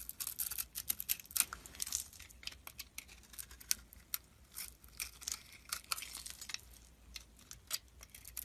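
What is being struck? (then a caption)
Bar of soap cut with a metal blade. A metal blade cuts and scrapes flakes from a solid red and white oval soap bar held in the hand. A quiet, steady run of short, bright, crisp scraping and shaving strokes, with very little low end.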